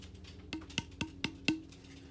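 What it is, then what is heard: Hollow hatchet handle. Five light taps on the hollow handle of a small Fiskars X7 camp hatchet give short, hollow, woody knocks, each with a brief tone near 300 Hz and a bright click on top. The hollow handle is by design: it cuts down weight and makes the hatchet front heavy.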